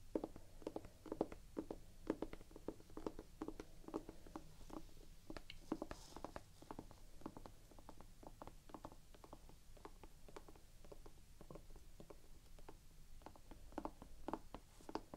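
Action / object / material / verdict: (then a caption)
tap / rubber sneaker outsole / rubber / none. Long nails tap and scratch across the waffle-textured, gum-brown rubber outsole of a Vans sneaker held up flat. Quiet, dull, short taps repeat steadily over soft scratching for about fifteen seconds. The taps stop dead with no ring.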